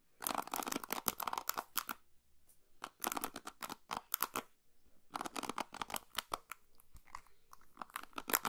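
Long pink nails scratch and strum the white plastic pins of an orange and blue plastic paddle hairbrush close to the microphone. The result is bursts of dense, crisp, crunchy clicking with bright highs, separated by short near-silent pauses.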